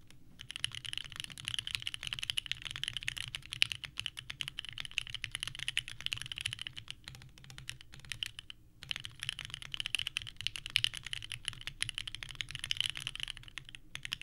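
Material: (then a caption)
ABS plastic. Both hands type continuously with their fingertips on a small 65% mechanical keyboard with a purple case and white ABS keycaps, resting on a desk mat. Rapid, clacky key presses with short, dry clicks centered around 2.9 kHz, with a brief pause near the middle before the typing resumes.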